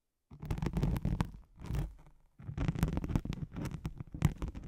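Long nails scratch a thin white hook-side nylon hook-and-loop sheet laid over a microphone, producing dense, low, rumbling scratches dotted with crisp ticks. The scratching comes in short bursts, drops out briefly near the middle, then resumes steadily to the end.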